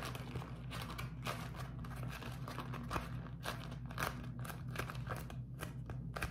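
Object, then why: Beeswax-coated cotton food wrap. A beeswax-coated cotton food wrap is crinkled and squeezed in both hands close to the microphone. Dense, crackly crinkling comes in repeated bright bursts over a steady low hum, and each crackle dies away quickly.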